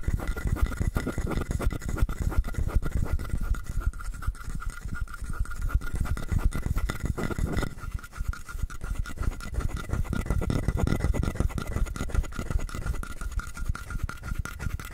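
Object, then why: Hollow carved wooden frog. A palm-sized hollow carved wooden frog has its ridges and sides scratched with fingernails. The result is a dense, fast run of dry rasping scratches, heavy in the low end with faint steady tones above. The scratching eases briefly near the middle before picking up again.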